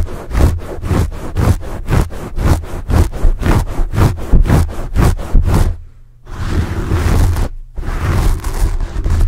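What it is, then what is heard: Foam microphone windscreen being scratched. Fingertips rub and scratch the sides of a porous black foam microphone windscreen, close to the mic. Quick, rhythmic scratching strokes give a run of booming, low thumps with a bright, hissy edge. After a short dip, the sound turns into denser continuous rubbing with a brief gap.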